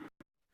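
A bite into a piece of chocolate that was melted and left to set again without tempering gives two soft, dull sounds with no crisp snap. The chocolate is poorly tempered and eats soft, like a ganache or truffle.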